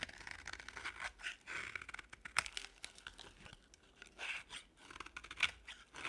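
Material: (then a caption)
Soap. A box-cutter blade scrapes and chips a small remaining solid piece of dry beige bar soap. Quiet, bright, crunchy scratches and crisp tearing crackles come in uneven bursts, each dying away almost at once, with almost no low end.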